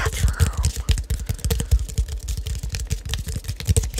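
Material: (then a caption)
Plastic. Fingertips and nails tap the dark cap and the body of a clear plastic drink bottle with a colourful label, hollow and seemingly holding liquid, held in both hands close to the mic. A rapid, uneven run of short, dull taps sounds deep and thuddy, with a faint bright tick on some strikes. Each tap dies away almost at once.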